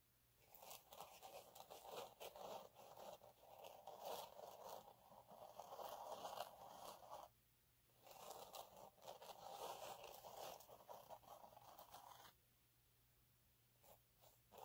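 Both hands scratch the surface of a flat, fine gold glitter sheet lying on a dark cloth, using short nails. The result is a dense, gritty scratching and crackling with a mid-range body and bright, crisp ticks. It comes in two long bursts separated by a brief silence and ends in a quiet stretch with a few faint scratches.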